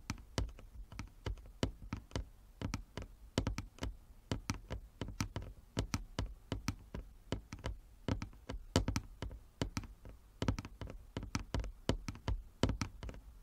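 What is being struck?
Wooden chess board.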